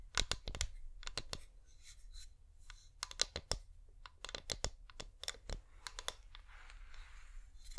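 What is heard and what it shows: A hand-sized wax-coated flameless LED pillar candle, a wax shell over plastic with a hollow top, is tapped rapidly with the medium painted fingernails of both hands. The result is a quick, uneven run of sharp, bright clicky taps with a faint scratchy texture between them and a low background hum.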